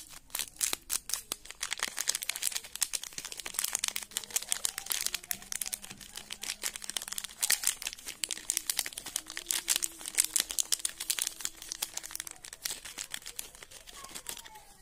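A sealed, printed plastic "Peanut Bar" wrapper, still full with the bar inside, is held in both hands and crinkled and twisted with the fingertips above a coffee sachet that lies underneath untouched. Dense, bright crinkling and sharp crackles run continuously for about 15 seconds, with almost no low end and each snap dying away instantly.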